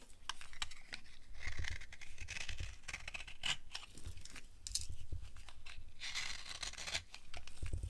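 A small, solid oval bar of dry yellow soap held in the palm is scraped and carved with the blade of a yellow box cutter. Many rapid, dry scratching and shaving strokes with bright crackle sit over a steady low rumble. The strokes continue without a break throughout.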